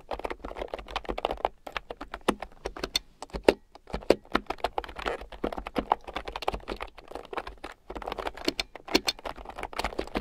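Fingertips and long nails type on a red plastic keyboard with round, typewriter-style plastic keycaps, lying on a fur rug. Fast, dense, clicky keystrokes patter with short, sharp taps and brief pauses, a couple of them landing louder.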